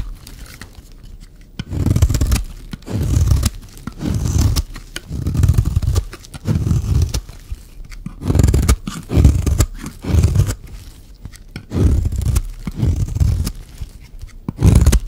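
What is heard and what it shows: A metal blade scrapes along the edge of a solid, stamped, dry mint-green soap bar, peeling off brittle curls. Short bursts of dry, crackly scraping repeat with quiet pauses between them, carrying a heavy low rasp under a faint bright crunch.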